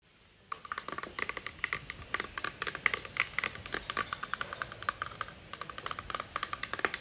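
Fingertips and medium-length nails tap and scratch across a flat, thin, white rigid plastic or acrylic sign reading "TICKET HOLDER ONLY," mounted on a granite wall. After half a second of quiet, about 45 quick, bright clicks follow with scratchy friction between them. Each tap dies almost instantly, with no hollow resonance.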